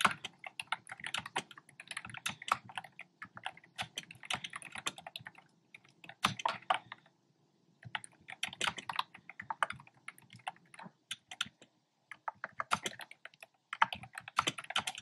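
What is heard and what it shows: Fingertips with short nails type on a black plastic keyboard with hollow, round retro-style plastic keycaps in cream, pink and red. Quick, hollow, bright clacks come in rapid bursts, each tap dying almost at once. Brief pauses fall near the middle and again a few seconds later.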